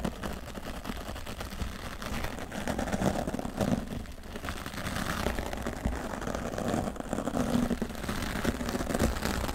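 A wooden natural-bristle brush sweeps across the right side of a grey foam microphone windscreen while a hand with long nails rests on the foam. The result is a steady, muffled scratching rustle with a deep rumbling low end, swelling and easing in soft waves without distinct separate strokes.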